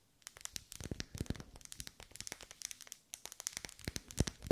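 Long pale nails tap and scratch the vertical ribs of a lit pink pillar candle of solid wax, held close. A rapid, uneven run of short, dry clicks and crinkly scratches pauses briefly around the three-second mark, then resumes and builds to a few louder taps at the end.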